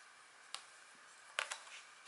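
A thin, flat scratch art sheet with a black coating over a metallic layer lies on a table while a hand with long nails scratches it with the metal tip of a green-handled wooden stylus, the other hand resting on the sheet. Three short, bright scratches stand out above a quiet hiss, each fading almost at once. The scratches are scratchy and high-pitched, centered around 1.4 kHz.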